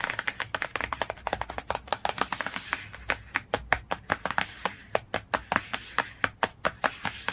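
Fingernails tap rapidly and scratch across the cover of a glossy cardboard hardcover book. The sound is a fast run of dry, crisp clicks with almost no ring, dense at first and then spacing out into quicker, evenly separated taps over a faint scratchy hiss.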